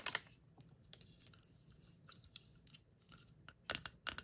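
Long acrylic nails tap and click on a round, palm-sized, hollow teal-and-purple plastic Stitch mystery capsule with ear flaps and a printed shrink-wrap label, held in the hand and closed with its contents inside. The result is a series of quiet, bright, dry plastic clicks that stop instantly, with a loud pair at the start and another cluster near the end.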